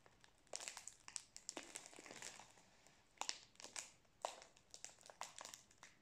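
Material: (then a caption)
Plastic film. A full roll of Prince biscuits in its plastic wrapper is held horizontally while fingertips and nails tap and crinkle the wrapper. Quiet, bright, crisp crackles come in irregular bursts with a few sharper taps. There is almost no low end.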